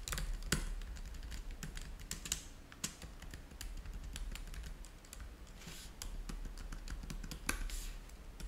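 Fingertips of both hands type on the low-profile keys of a black plastic laptop keyboard dock resting on a white table. A rapid stream of light, bright key clicks with short, crisp decays rides over a steady low hum, with a few sharper, louder taps standing out.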